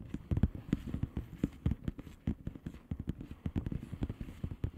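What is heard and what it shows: Long painted nails of both hands tap on a flat blue plastic bubble wrap envelope with air-filled bubbles. The result is a quick, uneven run of soft, dull, low thumps that die away almost instantly, with no bright edge.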